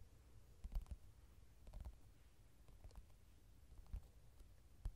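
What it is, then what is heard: Paperback coloring book. Fingertips and nails tap on the glossy card cover of a softcover mandala coloring book lying flat and solid. Scattered soft taps and faint clicks sound dull and low over quiet background hiss, each dying away almost instantly.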